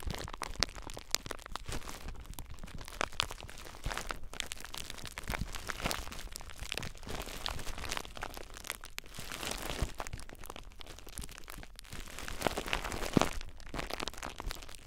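Fingers squeeze and crinkle clear plastic bubble wrap wrapped tightly around a recorder. A dense, steady stream of close crinkling and crackling fills the clip, with louder sharp crackles standing out now and then, especially near the end.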